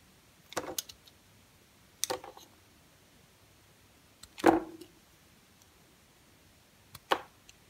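A solid, smooth yellow rectangular bar of soap is held in the hand and carved into curls with a red utility knife blade. Four separate scraping cuts are heard in quiet, each a short crisp shaving sound with a bright edge that stops quickly.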